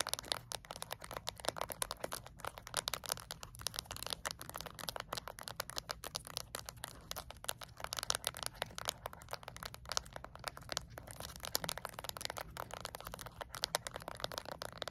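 Long acrylic nails tap rapidly on the coloured rubber buttons of a small, flat plastic LED remote control. The result is a dense, continuous stream of quick, dry, bright clicks with almost no ring, layered over a faint steady low hum.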